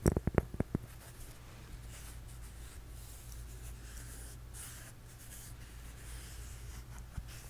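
A flat, solid, toast-shaped cork coaster is held up in one hand and tapped and scratched with the fingertips and nails of the other. About eight quick, dry taps come in the first second, followed by quiet, faint scratching over a steady low hum. One more soft tap sounds near the end.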